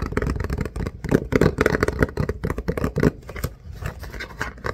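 A Puffs Plus Lotion cardboard tissue box, hollow with tissues inside, is held in the hands and turned while fingertips and nails tap and scratch it. The result is a dense run of quick, dull, papery taps and scratchy rustles, mostly low and muffled with almost no ring, growing softer toward the end.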